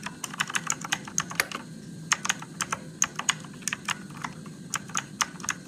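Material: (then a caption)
Plastic. Fingertips type steadily on a Motospeed RGB-backlit mechanical keyboard with plastic keycaps and blue switches in a dim room. About 27 sharp, bright clicks come in quick, uneven succession. Each click dies away almost at once over a faint low background.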